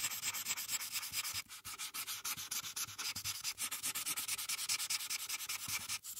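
A felt-tip marker is rubbed in small, quick repeated strokes across a thin printed paper coloring page lying flat on a dark surface, coloring in the sky. The sound is a steady, bright, papery scratching made of rapid back-and-forth rubs, with two brief pauses near 1.5 and 6 seconds.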